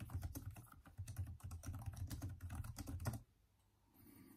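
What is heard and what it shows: Both hands type continuously with their fingertips on the hollow plastic keys of a backlit Microsoft Surface laptop keyboard, producing a rapid run of low, hollow, quickly fading taps. The typing stops at about 3.2 seconds, leaving near silence before a faint hiss rises at the end.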